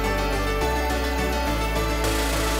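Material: Nothing is struck.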